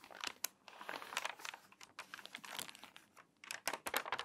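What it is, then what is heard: Water-damaged, crinkled paper magazine. A page of a crinkly, water-damaged paper magazine is turned, then long nails rub and scratch across its wavy pages. Dry, bright crackles and papery scrapes come in dense bursts with short quiet gaps, carrying almost no low end.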